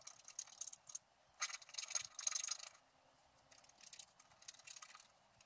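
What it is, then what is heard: Scratch-art card being scraped. A wooden stylus scratches the coating of a flat scratch-art card made of black-coated paper, with loose scraped flakes lying on the table. Quiet, dry, high-pitched scratching comes in uneven bursts separated by short pauses, with almost no low end. The louder, denser strokes fall in the middle of the clip.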